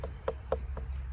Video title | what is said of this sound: SCTवैदिक टरबूज🍉3प्पट उत्पन्नाची गॅरंटी💪लाली,गोडी पाहून प्रेमात पडाल😍5 स्प्रे मध्येच हार्वेस्टिंग👆 | त्यात भरून अस गच्च गच्च भरलय गच्च भरलय टस्टसीत भरलय अस आवाज येतोय